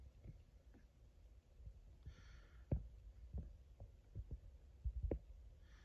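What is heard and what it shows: A fingertip and nail tap and rub the plastic label of a 1 L Frooti mango drink PET bottle lying on its side, which looks full. Six dull, low, deep-sounding taps are heard, with soft, brighter rubbing scratches on the label between them and at the end. The sound is quiet and close, and each tap dies away almost instantly.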